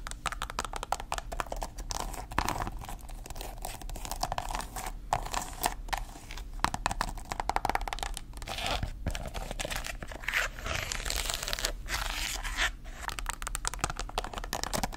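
Long acrylic nails tap and scratch rapidly across the glossy upper of a hollow, empty black patent leather loafer with a tassel and a tan rubber/cork sole. Dense, crisp clicking and crinkly scraping run continuously throughout, over a low steady hum.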